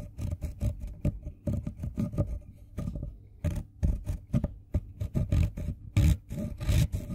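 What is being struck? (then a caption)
Wooden colored pencil on a steel file. The tip of a green wooden colored pencil, held by hand, is filed back and forth on a fine-toothed steel file, leaving green pigment dust piling up. Short, dry rasping strokes come in an uneven rhythm, with a dull, low-heavy scrape that stops almost instantly after each pass.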